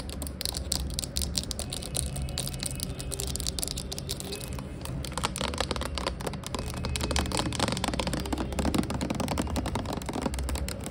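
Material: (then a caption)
Plastic. Long acrylic nails rapidly tap and scratch the cap and body of a clear plastic Glade rose air freshener bottle, about 460 ml, hollow with liquid inside and lying on its side. The result is a dense, continuous stream of short, dry clicks and scrapes with bright, crisp edges over a steady low hum.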